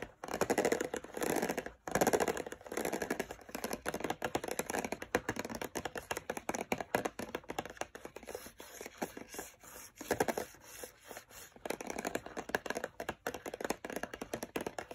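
Fingertips and long nails tap and scratch across the bumps of a clear, rigid plastic blister pack holding 16 Expo dry erase markers, with the markers sitting inside the hollow plastic shell on a cardboard backing that lies flat on a wooden table. The result is a steady stream of quick, dry plastic clicks and crackly scratches, mostly in the midrange, with brief pauses between bursts.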